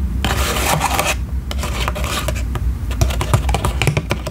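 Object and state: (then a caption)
Paper cocktail umbrella. Long nails scratch and rub the thin paper canopy of a small paper cocktail umbrella on a wooden stick, held open close to the microphone. The sound is a steady, dry, crinkly rustle broken by quick, sharp scratchy ticks over a low, soft rumble.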